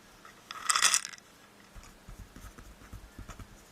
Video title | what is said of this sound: ASMR Peg Solitaire game walk-through and ramble (softly spoken) | a nice box it comes into. It's kind of metallic.